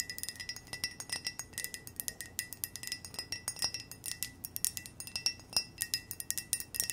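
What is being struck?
Ceramic mug.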